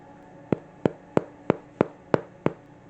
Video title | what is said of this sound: Garlic Bread - Elder Scrolls Cookbook | you can also tell if your bread is done if when you pick it up and tap the bottom it sounds hollow